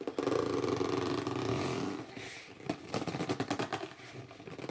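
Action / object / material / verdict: scrape / cardboard box / cardboard / none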